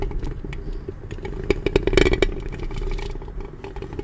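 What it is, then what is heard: Metal microphone grille being scratched. Long nails scratch and rub the metal mesh grille of a black studio microphone with both hands. The result is a dense, irregular scratchy clatter over a low rumble and a steady mid-low hum, with sharp, bright clicks cutting through in the middle of the clip.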